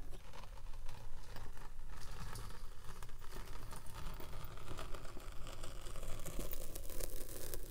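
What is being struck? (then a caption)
Kinetic sand block. A steel pinwheel roller is rolled along the front edge and side of a solid purple kinetic sand slab, pricking and scratching the sand. A steady, dense crunchy scratching runs throughout over a dominant low rumble, with no pauses or distinct separate hits.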